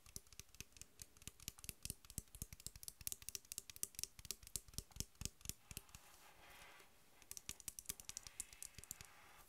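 Long white nails tap quickly on the cap and body of a full Mountain Dew bottle made of PET plastic with a plastic cap, making dozens of sharp, bright clicks that stop almost instantly. Around the sixth second the tapping pauses for a soft, hissing rustle, then the quick clicks resume.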